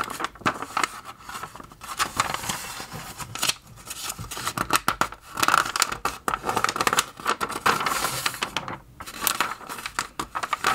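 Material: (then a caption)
Paper. Fingers quickly flip the thin printed glossy pages of an open magazine, making a fast run of flapping, rustling page turns with crisp, bright crinkles. A faint steady tone near 1.3 kHz runs beneath the dry, close papery sound.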